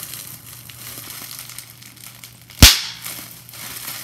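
A clear plastic bubble wrap sheet with large air bubbles is held in both hands while fingertips and nails crush and pop the bubbles. Soft crinkling over a low steady hum gives way to a sudden sharp, bright pop that fades within a fraction of a second.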